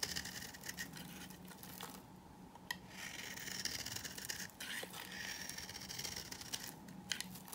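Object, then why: Bar of soap scraped with a knife. A knife scrapes a hand-held, dry, beige bar of old soap, shaving off flakes. The scraping is a quiet, steady, bright rasp with short crisp ticks and brief pauses between strokes.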